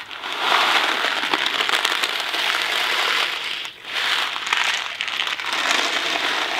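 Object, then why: Cardboard box of dry pasta. A Kraft macaroni & cheese cardboard box full of dry pasta is held in hand, shaken and tilted. The loose pasta makes a steady, dense, bright rattle and rustle with no low end. The sound dips briefly just before the four-second mark, then swells back for more shaking.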